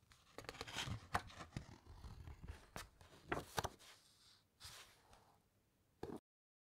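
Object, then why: Thick encyclopaedia paper pages. A page of thick paper in an encyclopaedia is lifted and turned close up, giving crisp crackling rustles and sharp papery flicks. Fingertips with long nails then rub and scratch across the next page in softer, dry scraping strokes. A final brief rustle is followed by silence.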